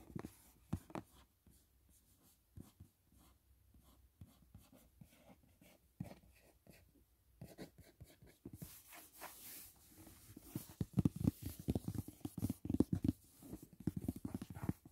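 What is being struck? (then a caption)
Flat cardboard gift box. Fingertips and short nails tap and scratch the lid of a large, flat, rigid white paperboard gift box with "Dashing Diva" print, closed and lying on a bed. Soft, sparse, low dull taps come first. About halfway through, a denser, brighter scratching hiss takes over, and quicker, louder taps follow.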